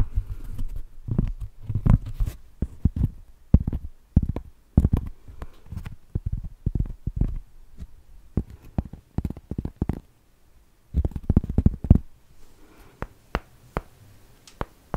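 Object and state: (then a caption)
Cork trivet tapped. A large, flat, round solid cork trivet is held beside the microphone and tapped with long nails and fingertips. The taps come as rapid, uneven bursts of short, dull low thuds, with faint sharp clicks from the nails and a brief pause before the tapping resumes.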